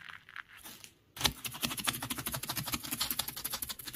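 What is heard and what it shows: Fingertips tap and scratch the surface of a bed of beach gravel made of small loose pebbles and shell fragments. Faint, soft rustling fades to near silence for about the first second, then a burst of dense, rapid, bright crunching and clicking scratches starts and carries on steadily to the end.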